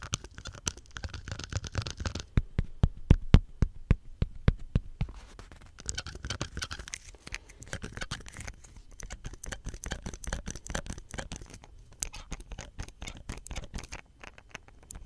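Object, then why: Small hollow plastic soap pump head. A small hollow green plastic soap pump head with a ridged collar is held in the fingers and scratched and tapped by fingertips and nails. Quick, irregular taps and scratchy rubs follow one another steadily, each tap a short, dull low knock with a bright click on top that dies away almost at once. Louder, crisper taps cluster in places, with softer scratching running between them.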